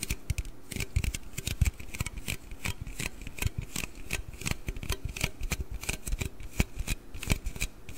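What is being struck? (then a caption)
Aluminium drink can. Fingernails tap and scratch along the body of a large, hollow aluminium Red Bull can held close to the mic. The result is a rapid, uneven run of crisp clicks and short scratchy strokes, each with a dull low thump beneath a bright tick. Every hit dies away almost instantly.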